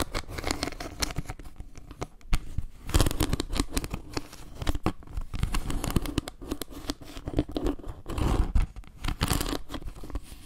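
Long nails scratch and tap across a round, solid wood-slice trivet with leaf carvings as it is tilted in the hands. Dry, crackly scratching and quick taps run throughout, with denser, louder bursts near 3 and 8–9 seconds. The sound is close and mostly low, with a papery, rasping edge.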